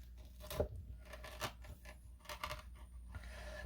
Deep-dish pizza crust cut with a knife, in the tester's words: cut into this so you can hear how crispy it is